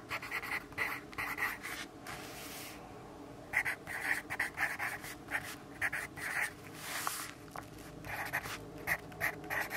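A yellow graphite pencil writes on a lined paper notepad resting on a wooden desk, producing quick, dry scratching strokes. The strokes come in short bursts with a bright, papery rasp, including a brief lull a few seconds in. Each scratch stops cleanly with no ring afterward.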